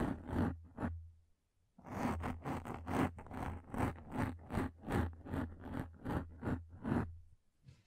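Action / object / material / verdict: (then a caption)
scrape / thin frosted plastic sheet / plastic / none. A thin, hand-width frosted plastic sheet held in both hands above the microphone is scratched rapidly with long lilac nails. A few short raspy scratches come first, then after a brief pause a steady run of quick, evenly spaced scrapes follows, each with a soft low body and a dry, airy top that stops quickly.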